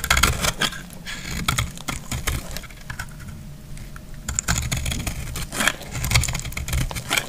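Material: Soap.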